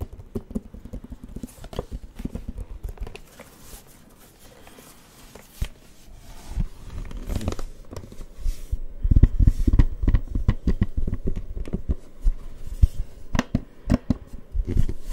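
Fingertips tap on the flat plastic screen of a plastic light-up glow drawing pad in an irregular, steady run of soft, short taps. The taps are dull and low with almost no ring, quieter in the first few seconds and growing denser and louder in the second half.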